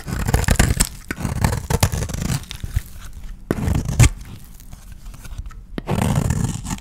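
A utility knife blade scrapes the face and edges of an oval, pale-green, solid dry soap bar held in the hand, taking off thin shavings. Dense, low-heavy scraping and crunching comes in bursts with quieter gaps between them, and a couple of sharp clicks stand out midway.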